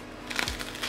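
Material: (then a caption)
Bread crust. A freshly baked homemade baguette, golden and crusty and just out of the oven, is pressed so its crust crackles. Dry, bright crunching bursts rise around the midpoint, the crust crisp as it should be.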